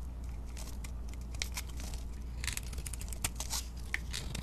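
A solid white bar of soap with pink-coated edges, held in the hand, is carved and scraped with a utility knife blade. Quick, crisp scrapes and crunchy, crinkling shavings come in bright bursts over a steady low hum.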